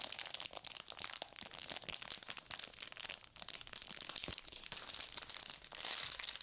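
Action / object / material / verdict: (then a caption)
scrape / sealed plastic and paper surgical glove pouch / plastic, paper / none. A sealed plastic and paper surgical glove pouch is bent, squeezed and crinkled in both hands with long nails. It gives a steady stream of dense, bright crinkles and sharp crackles with almost no low end. The sound swells and dips briefly but never stops across the whole clip.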